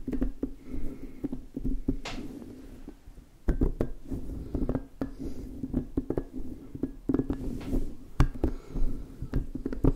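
An orange, hand-sized, squishy soft rubber spiky puffer ball is rubbed and squeezed with fingertips and palms while its spikes are brushed. The result is a steady run of soft, low, muffled squishing and rubbing with many short, dry brushing clicks and taps that die away quickly.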